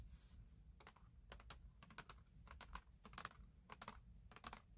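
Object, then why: Kraft cardboard box. Fingertips with medium-length nails rub and tap across the lid of a flat, book-sized kraft cardboard box for a 3D wooden puzzle kit, which is probably closed and full and lies on a grey surface. A brief soft, bright scratch opens the clip, followed by quick, irregular dry taps and clicks that die away almost instantly over a low background rumble.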